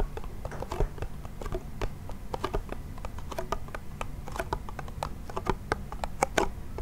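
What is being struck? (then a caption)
Small wooden toy hand drum with membrane. Fingernails tap rapidly on the white membrane of a small, hollow wooden toy pellet drum held in the hand. The sound is a quick, irregular stream of light, dry clicks with short hollow tones around 380 Hz, over a steady low rumble.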